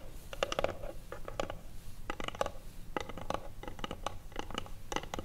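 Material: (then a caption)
Wood. A small hollow wooden box with a metal clasp lies flat while its lid is tapped and scratched with long acrylic nails. Quick, dry clicking taps come in uneven bursts, each with a hollow knock around 540 Hz and a bright edge, over a low background rumble. The taps die away almost instantly with no ring.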